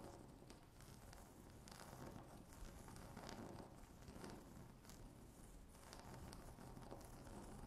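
Long natural fingernails tap and scratch across a flat, solid, speckled granite-look laminate tabletop. The result is a quiet, steady, crackly scratching texture that swells and eases, mostly low and mid in tone, with faint brighter scrapes.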